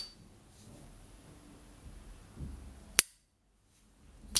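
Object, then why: Gold-plated brass gas lighter with hinged lid. A rare 1970s S. T. Dupont Ligne 1 (Line 1) gas lighter, a small rectangular hollow gold-plated brass body with a hinged lid, is held in a white-gloved hand while the thumb flicks the lid open and snaps it shut. After a quiet stretch of low rustling, two sharp, bright metallic pings ring out, the second one cut off at the end of the clip.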